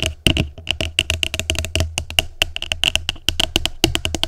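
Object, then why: Plastic food container. Long nails tap rapidly on the bottom of an upside-down, empty, hollow translucent plastic tupperware container. The result is a quick, steady run of short, bright clicks with a hollow ring and a soft low thump underneath, each tap dying away almost at once.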